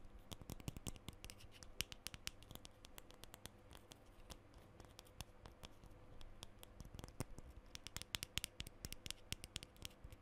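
Fingernails scratch up and down the top section of a black metal aerosol deodorant can labeled WILD. The result is a quiet, steady run of dry, rapid scratching with many short, sharp, bright ticks over a low background hum. The scratches come in uneven bursts.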